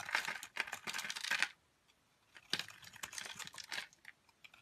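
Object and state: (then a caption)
Soap bar being scraped. A metal blade scrapes crumbly flakes off the edge of a green, oval, hand-sized solid Lux soap bar. Dense bursts of dry, crackling, bright scraping come in two clusters separated by a short pause, with quick crisp ticks and no low rumble.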